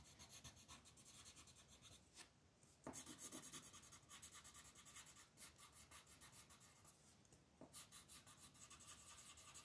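A peach-colored pencil shades a flat paper coloring book page on a table with fast strokes while a hand with red nails holds the sheet's edge. The result is a steady, bright, raspy scratching and rubbing. Brief pauses come near the 2 and 7 second marks.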